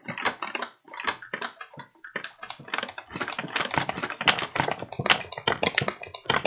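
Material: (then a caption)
Paper. A medium, empty kraft paper bag with blue print, hollow and held flat in both hands, is tapped and crinkled along its paper sides with the fingertips. The result is a quick, irregular stream of dry, crisp taps and rustles with bright crackle and little low end, each burst dying away almost at once.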